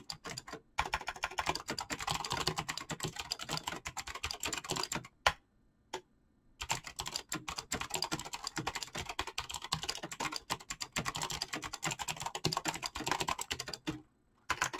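Fingertips type rapidly on a full-size backlit mechanical keyboard with PBT plastic keycaps, producing a dense stream of sharp, bright clacks with very short decay. The typing stops briefly around the five-second mark, with a couple of isolated key hits, then resumes at the same quick pace until a short pause near the end.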